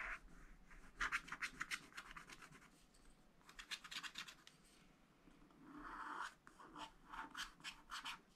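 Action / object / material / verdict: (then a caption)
scrape / wax-coated scratch-art paper and wooden stylus / waxed paper / none. A wooden stylus scratches across the purple flower area of a wax-coated scratch-art paper pad lying flat. Quick, bright, raspy strokes come in clustered bursts, with quieter stretches of softer rubbing between them. A longer, smoother scrape rises near the end before a few final short strokes.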